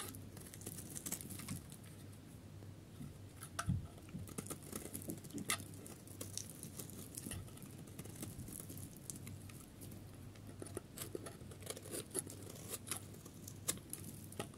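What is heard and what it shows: A metal knife blade scrapes the surface of a solid, dry, pale yellow soap bar into curls. Quick, dry crackling and crisp scratching repeat throughout over a low hum. Occasional sharper clicks and bright, brittle flakes stand out.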